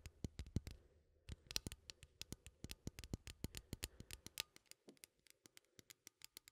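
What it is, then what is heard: Metal coffee tin. Fingernails scratch and tap along the side and lid of a small cylindrical metal coffee tin held in one hand. A quiet, rapid series of sharp, dry clicks and scrapes follows, each very short with a bright top, over a faint low hum.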